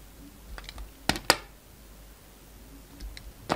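A utility knife blade slices thin pieces from a solid black-and-white striped bar of soap held in the hand. Soft scraping ticks are followed by two sharp, crisp cuts close together, then another bright crack at the end, each dying away almost at once against a quiet background.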